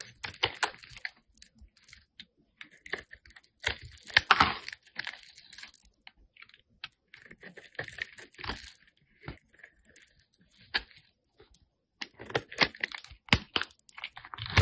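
A metal blade carves a solid, hand-sized bar of light-blue soap, making dry, crunchy scraping bursts with bright edges and almost no ring. The bursts come in uneven clusters separated by short quiet gaps. At the end, the bar is broken apart by hand with a crisp crack.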